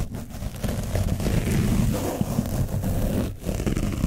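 A foam brush is scrubbed over the top of an orange foam microphone windscreen coated with dried paint. It makes a continuous, heavy, low rumbling scratch that briefly dips near the end before resuming.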